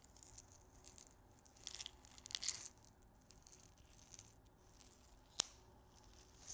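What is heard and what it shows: A small clear glass salt grinder with a black cap, full of pink salt crystals, is held horizontally and shaken and rotated by the fingertips. The salt rattles in soft, bright, crackly bursts over a quiet background, with one sharp, short click near the end.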